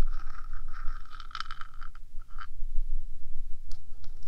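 Long nails of one hand scrape and tap the top of a 3Dio microphone's small rectangular metal box. It makes close, scratchy scraping with a steady mid-pitched ring and a few sharper taps, over a constant low rumble.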